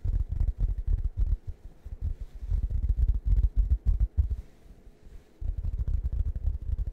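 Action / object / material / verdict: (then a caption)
tap / foam cushion covered in soft fabric / fabric foam / none. A large, round, flat plush cushion printed like a waffle with berries, soft fabric over foam, is held in front of the microphone and scratched and tapped with fingertips. The result is a stream of dull, deep, muffled thumps and soft rubbing with almost no brightness. It quiets briefly near the end, then the tapping picks up again.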